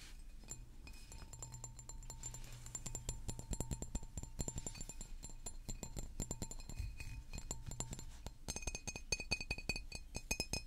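A large, hollow green glass water bottle is held and tapped with fingertips and nails in a rapid, steady stream of short clinks. Each tap rings bright and high over a low, hollow thump, and the tapping grows denser and sharper toward the end.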